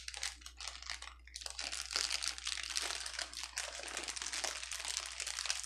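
A clear plastic bubble wrap sheet on a table is pressed with both hands and pinched with fingertips, giving a dense, continuous run of bright crinkling and crackling with scattered sharp pops. A faint steady low hum sits underneath throughout.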